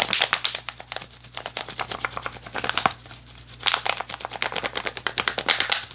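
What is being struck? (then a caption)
Plastic water bottle. An empty, hollow clear PET plastic water bottle with a blue cap is tapped with fingertips and nails and crinkled. It makes a rapid run of dozens of crisp, bright clicks and crackly crinkles that die away almost instantly. The taps come in bursts with a brief, quieter lull in the middle.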